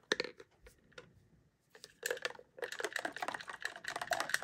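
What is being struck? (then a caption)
Plastic toy tube with water. Fingertips and nails tap and rub the wall and gold plastic cap of a hand-sized, hollow, clear pink plastic Disney Princess Color Reveal tube holding water and a doll. Sharp, bright plastic clicks and ticks come in a few scattered taps with a quiet gap, then turn into a rapid, dense patter of tapping and scratching. Each tap is dry and short, with almost no ring and no low end.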